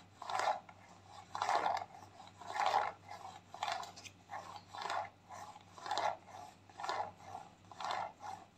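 A white, squeezable, partly full plastic tube of clay mask is scratched and tapped with long nails. Soft, scratchy bursts repeat about once a second, each a dry rasp centered in the mids with a faint bright edge and almost no ring. A low, steady hum sits underneath throughout.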